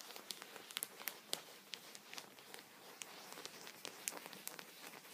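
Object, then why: Thin plastic punched pocket on a towel, tapped with a wooden pencil. A thin clear plastic punched-pocket sheet protector lies flat on a towel and is tapped repeatedly with a vertically held wooden pencil while the fingertips of the other hand rest on the sheet. The result is a quiet, irregular stream of sharp, bright plastic ticks and crinkly crackles that die away almost instantly, with almost no low end.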